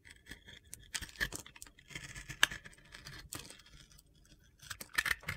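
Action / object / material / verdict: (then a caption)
scrape / glitter-coated soap bar scraped with a metal blade / soap / none. A metal utility knife blade shaves and scrapes slices off a solid rectangular bar of soap coated in pink and blue glitter, held in hand. The sound is a series of dry, gritty, bright scratches and crunchy scrapes with short sharp clicks, the loudest snap coming about midway, and a quieter pause before a final burst of scraping.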